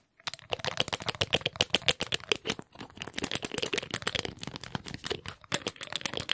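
A small dark glass dropper bottle with a rubber bulb pipette is handled quickly, the pipette pushed in and pulled out of the bottle and the bulb squeezed with fingertips. The result is a fast, dense stream of sharp, bright clicks and glassy rattles with very short decay, centred around 3 kHz. There is a brief pause near the middle.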